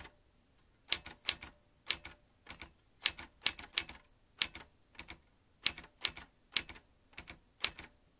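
A vintage metal manual typewriter is typed on with fingertips tapping its round keys. A quick, uneven series of sharp, bright clacks follows, each dying away almost at once over near silence.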